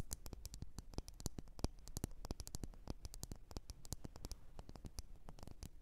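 Long nails tap the sides of a lit, wax-filled red glass candle jar in quick, irregular bursts of short, bright clicks that barely ring. A low, steady background rumble sits under the tapping throughout.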